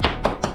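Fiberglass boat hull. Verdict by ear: Solid.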